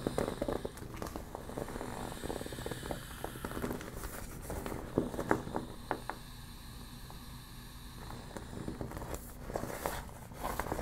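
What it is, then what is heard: Deflated vinyl beach ball being crumpled. A deflated yellow PVC vinyl beach ball is gripped and crumpled in the hands while long black nails scratch its thin plastic sheet. The result is soft, continuous crinkling and scratching with a steady low rustle underneath. Sharp little clicks and crackles pop out throughout, with the loudest bursts around the middle and near the end.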